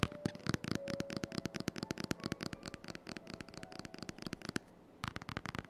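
Fingertips and short nails rapidly tap and scratch the glossy laminated cardboard cover of a large closed hardcover children's picture book, "My First Big Book of Questions & Answers," lying flat on a dark wooden table, recorded with the microphone held close above. Dozens of short, sharp, dry taps and clicks with a crisp bright edge come in quick succession over a faint scratchy rustle. They pause briefly near the end, then resume.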